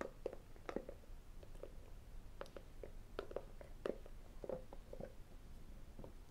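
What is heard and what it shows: A small, hollow, white rigid cardboard iPhone box, its lid lifted off by the end, is tapped with fingertips and metal rings. A quiet, steady series of short, dry taps gives a hollow knock around 500 Hz, with brighter clicks from the rings and almost no ring-out.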